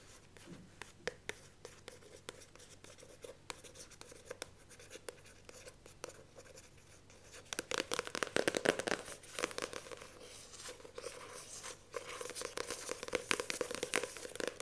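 Long painted nails scratch and trace across the glossy printed paper front cover of a handheld paperback novel, The Magicians of Caprona, with a solid block of paper pages underneath. Soft, dry scratching with sparse light clicks fills the first half, then turns faster and louder from about 7.5 seconds, with bright, crackly rasps. It eases briefly before picking up again near the end.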